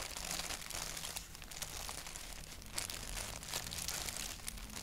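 Fingertips scratch and tap a thin white paper sheet with a black doodle print. A steady, bright, crinkly rustle runs throughout, broken by soft taps and brief louder crackles over a faint low hum.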